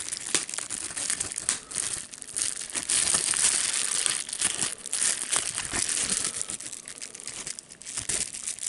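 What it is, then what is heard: Bubble wrap being popped and crinkled. A sheet of clear plastic bubble wrap with air bubbles is held in both hands while fingers squeeze, pop and crinkle it. A dense, bright crinkling runs throughout, broken by irregular sharp, dry pops, with almost no low end and a few brief lulls.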